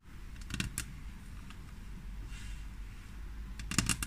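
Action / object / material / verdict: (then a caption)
tap / frosted glass tabletop tapped with fingernails / glass / none. A flat, solid frosted glass tabletop is tapped and scratched by the long, natural-colored fingernails of both hands. Sharp, bright clicks arrive in clusters near the start and again at the end, and a softer scratching hiss runs between them. A steady low hum sits underneath throughout.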